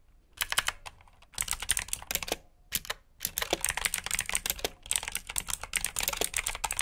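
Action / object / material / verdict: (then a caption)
tap / plastic mechanical keyboard / plastic / none. Both hands type with their fingertips on a black plastic backlit mechanical keyboard with blue switches. The result is bursts of sharp, bright, clicky keystrokes separated by brief pauses, with each click dying away almost instantly.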